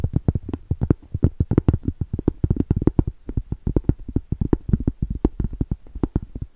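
Long stiletto acrylic nails tap and scratch across the face and rim of a round, solid cork trivet. The result is a rapid, steady stream of dull, muffled clicks and soft scrapes, mostly deep in tone with almost no brightness, each one dying away instantly.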